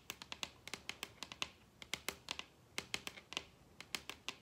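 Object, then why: Wooden tabletop tapped with fingernails. Long red acrylic nails rapidly tap the surface of a large, solid wooden dining tabletop. About 24 sharp, bright clicks come in quick, uneven bursts, each dying away almost instantly with very little low-end body.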